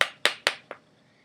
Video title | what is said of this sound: How To: Bath Bombs ._. | you could hear the difference between when it's open and when it's not